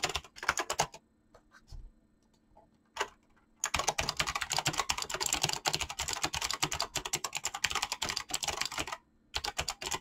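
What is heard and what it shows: Fingertips type fast on a mechanical keyboard with clicky switches and PBT plastic keycaps, giving dense bursts of sharp, bright clicks. A short burst opens the clip, followed by a near-silent lull with a few scattered taps around two to three seconds. Continuous rapid typing then runs to the end, broken only by a brief pause near nine seconds.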